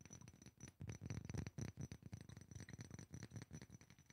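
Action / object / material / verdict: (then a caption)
tap / small glass perfume bottle, partly filled / glass / none. A small rectangular glass perfume bottle with a black cap, partly filled with yellow liquid, is tapped quickly with fingertips and nails. The result is a rapid run of soft, dull clicks that die away almost at once, with most of the energy low and a faint steady high tone underneath.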